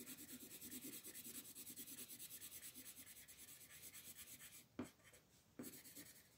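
A wooden colored pencil is rubbed in short shading strokes across a flat printed paper coloring book page lying on a table, while the other hand, with long green nails, holds the page. A rapid, steady, bright scratchy rasp continues for about four and a half seconds, then dips and is broken by two sharper ticks before the strokes resume more softly.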